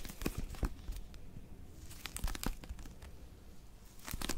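Long nails grip and scratch the cover of a small blue Oxford paper pocket dictionary held in both hands. Dry, crinkly scratching comes in bright bursts near the start, the middle and the end, over a quiet low rumble.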